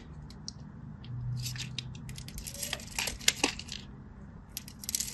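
A craft knife scores a solid teal-and-white striped bar of soap in a grid, and cubes break off. Crisp, bright scraping and crackling cuts come in short bursts over a faint low hum. Small sharp snaps mark the cubes breaking away.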